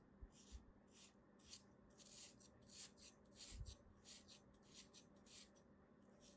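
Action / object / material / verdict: scrape / moulded kinetic sand shape / kinetic sand / none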